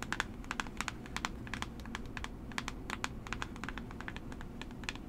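A small, hollow, rectangular blue and orange cardboard box for Coola SPF 30 is held in one hand while long nails tap and trace across it. The result is a quick, steady run of light, dry, clicky taps with a bright edge, each dying away at once, over a low, soft background rumble.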